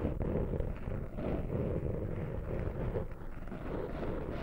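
Fingertips and short nails scratch and rub a small black foam windscreen over a microphone. The result is a steady, muffled, scratchy rustling with a heavy low rumble and almost no bright content, swelling and dipping slightly without clear breaks.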